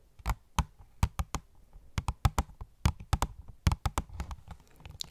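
Long nails tap on an opened, hollow cardboard phone case box with a plastic window. About 19 short, dry taps come in an uneven rhythm, each a dull, hollow low thump with a faint clicky edge that dies away almost at once.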